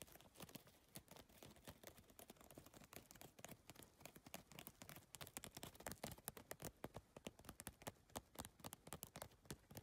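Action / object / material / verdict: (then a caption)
tap / PVC-tile handbag / plastic / none. Long nails rapidly tap and scratch across the plastic tile surface and edge of a holographic geometric PVC-tile handbag. The result is a dense run of short, dry clicks with brief scraping sounds between them, with little ring after each hit.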